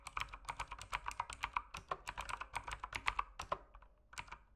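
Fingertips type steadily on an RGB mechanical keyboard with plastic keycaps, producing a rapid run of short, bright clacks with a hollow midrange tone. The keystrokes come in uneven bursts, then slow to a few scattered taps toward the end.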